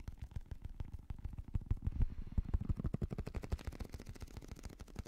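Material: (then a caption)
Rubber. A small translucent blue squishy stress ball, likely a rubber skin filled with gel beads, is held in one hand and tapped fast with a fingertip and nail. The result is a rapid, uneven stream of soft, dull, low thuds with almost no ring and no bright edge.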